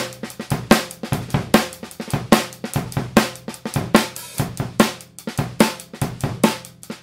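A Pearl 14x6.5 in maple snare drum, with a hollow wooden shell in dark red finish and a coated plastic head, is struck with wooden drumsticks in taps and rolls. Short, punchy cracks come in an uneven pattern with a low body and a faint ringing tone, each hit fading quickly.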